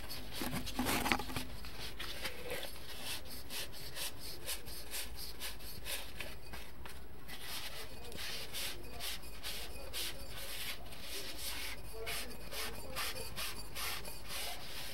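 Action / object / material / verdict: scrape / unglazed stoneware cup / stoneware / none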